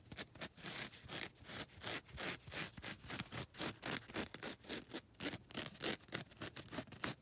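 Long red nails scratch and rub the abrasive grit faces of a grey and lilac foam nail buffer block. The result is a rapid, uneven series of short, dry, bright scraping strokes, each a hissy burst with little low end and almost no ring.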